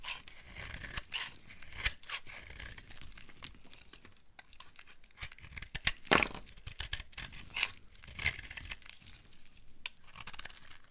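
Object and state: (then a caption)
Dry bar soap being carved. A utility knife carves a solid, pale yellow bar of dry soap into crumbly curls and flakes. Dry, crinkly scraping and crackling strokes repeat throughout, with bright, papery crunches and short snaps standing out. Each stroke dies away almost at once.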